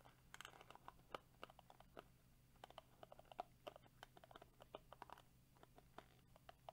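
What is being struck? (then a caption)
Plastic detangling hairbrush bristles. Fingertips and short nails of one hand scratch and strum across the dense, flexible plastic bristles of a small hand-held black plastic Tangle Teezer-style detangling brush with a purple rim, held in the other hand. A rapid, irregular stream of quiet, dry, clicky ticks and scratches runs throughout, each snapping off almost instantly, with a bright edge over a faint low hum.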